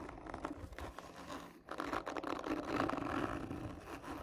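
Long nails slowly scratch the textured surface of a hollow black cardboard gift tube, making a dry, rough scraping with a hollow mid-range rasp. The scratching runs continuously in uneven strokes, briefly easing off near the middle before returning louder and fuller.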